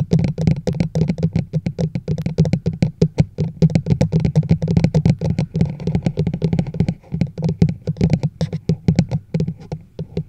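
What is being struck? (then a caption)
Large plastic mug. A large, hollow teal plastic chug mug is held over a microphone while long nails tap and scratch its side walls. Rapid, dull, hollow taps with a low body around 150 Hz die away almost instantly, mixed with brief scratchy strokes across the plastic.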